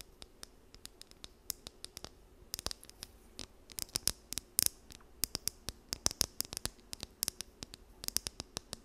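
Long nails scratch and run along the teeth of a small, solid, blue plastic wide-tooth comb held in both hands near the mic. Dozens of quick, bright, dry clicks and ticks come in uneven bursts, some clustered and some isolated. The clicks sit over a faint, steady background hiss.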